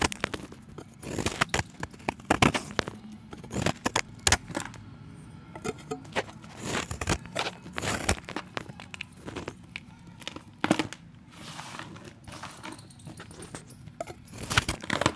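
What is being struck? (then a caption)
Chalk disc scraped with a steel blade. A solid round chalk disc held in the fingers has its edge scraped with a steel utility knife blade, and chalk chips fall into a bowl. Dry, bright scraping strokes come in rapid, uneven bursts with crumbly crackles between them. Each stroke stops almost at once, with no ringing.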